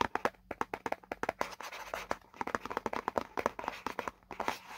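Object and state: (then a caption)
Cardboard box, hollow. Fingertips and nails tap and scratch the printed diagram area on the hollow side of a white paperboard product box. A quick, uneven run of short, dry taps with a hollow mid-range tone is heard, with soft scratchy rustling filling the gaps between them.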